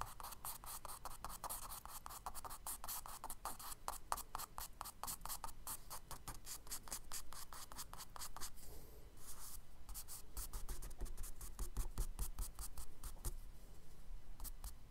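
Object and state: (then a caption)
Charcoal strokes on kraft paper. A charcoal stick scratches repeated short strokes across the solid surface of a tan kraft paper page in a spiral sketchbook. The strokes are dry, gritty and quick, with bright rasping edges, coming at an uneven pace over a steady low hum. There is a brief lull just before the ninth second.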